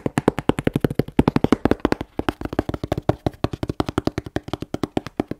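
A closed, hollow, medium corrugated cardboard shipping box with a UN3481 label is held and tapped on its side and label with long nails and fingertips. About 46 quick, dry taps come in a steady stream, with a brief pause near the two-second mark. Each tap is a short, hollow, low-mid knock that dies away almost instantly.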